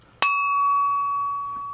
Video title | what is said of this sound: Make Money Scrapping a Flusher From a Urinal | Rings that's one good way you know it's brass because they make bells